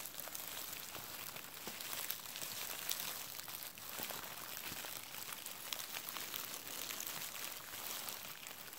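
A large clear plastic bubble wrap sheet with hollow air bubbles is held in both hands and crinkled and squeezed with the fingertips. It gives a quiet, steady, bright crackle of dense small ticks and pops, with very little low end, for the whole clip.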